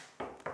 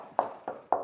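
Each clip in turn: First: dense hand-applied lime-hemp wall (cold wall). Second: hollow-sounding sprayed hemp-lime wall.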